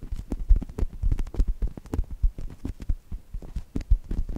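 Fingertips and long nails squeeze and scratch the surface of a brown polyurethane foam chocolate toast squishy. The result is a rapid, uneven run of short, muffled low thumps and soft squishy crackles with almost no bright content, each sound dying away almost instantly.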